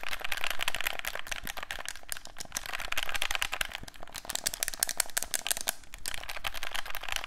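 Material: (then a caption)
Plastic. A hollow black plastic handheld game controller is held in both hands while its buttons are pressed and clicked with thumbs and fingertips. The result is a rapid, uneven stream of short, bright plastic clicks and taps with a soft rattle, continuing steadily through the clip.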